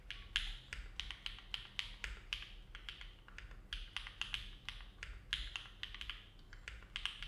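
A compact Neo70 mechanical keyboard with an aluminum plate, foam dampening and dark GMK plastic keycaps sits on a desk mat while the fingertips of both hands type on the keys continuously. A steady, uneven stream of short, bright clacks peaks around 3 kHz, each dying away quickly over a faint low rumble.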